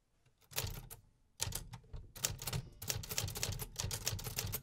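Fingertips press the keys of a hollow, metal-cased 1950s typewriter with paper loaded, producing sharp mechanical clacks. After a brief quiet start, the strikes come in irregular bursts of rapid typing. Each clack is short, bright and crisp, with a dull low thump beneath it.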